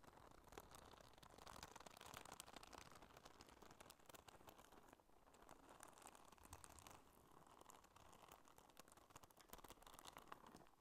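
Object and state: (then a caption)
Rubber spiky sensory ball. Long manicured nails scratch and squeeze the spikes of a small, hollow, squeezable neon-yellow soft rubber spiky sensory ball held in both hands. The result is a dense, continuous crackly scratching and crinkling with bright, rapid clicks over a low rumble, dipping briefly at about five seconds before carrying on.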